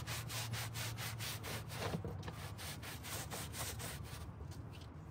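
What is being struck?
Carpet car floor mat scrubbed with a stiff plastic brush.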